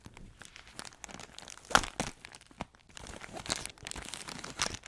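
Long acrylic nails scratch and squeeze a plastic-wrapped pack of crispbread crackers, producing dense, bright crinkling and crackling with short, sharp crunches. The loudest snap comes near the middle, followed by steadier rustling.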